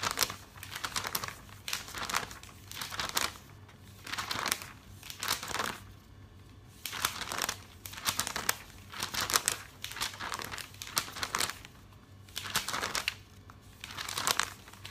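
Fingertips flip and smooth the thin pages of a thick glossy paper catalog lying open on a table. Bursts of bright, crisp crinkling and rustling rise and fade with each page movement, separated by quiet pauses, with almost no low-end weight.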